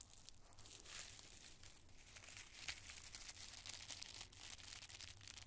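Loose handfuls of small, thin, colored tissue paper squares are gripped and crinkled in the fingers and palms of both hands. A soft, continuous rustle of bright, crackly crinkling comes through, with frequent sharp bursts of crackle over a faint low hum.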